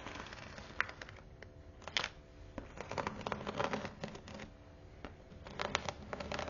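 Long nails tap and scratch across the teal perforated faux-leather cover of a thick Bible. Quiet, dry clicks and scratchy, crinkly rustles come in uneven bursts, with bright edges and almost no ring after each tap.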